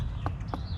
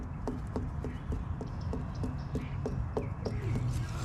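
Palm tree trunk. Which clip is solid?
The first.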